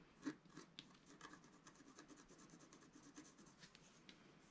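A wooden stylus scratches small details into the top left of a flat, black-coated scratch-art sheet about A4 in size, lying on a table. Quiet, dry, short scraping strokes follow one another with a bright, hissy texture, the loudest near the start. Each stroke stops almost at once with no ring.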